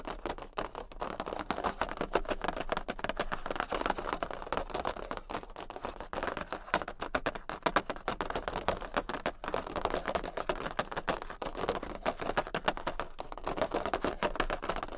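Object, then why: Large thin cardboard playing card. Long pink acrylic nails tap very fast on a large, thin jumbo cardboard Queen of Hearts playing card, sometimes with both hands and sometimes with one. The result is a dense, continuous patter of dry, papery clicks centred in the midrange, each tap dying away almost instantly. It stays steady throughout with only brief dips.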